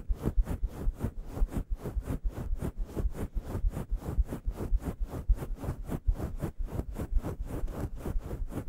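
Two hands with long yellow nails quickly scratch a fist-sized grey faux fur microphone windscreen. The result is a steady run of rapid, soft, muffled scratching bursts, heavy in low rumble with faint airy hiss on each stroke.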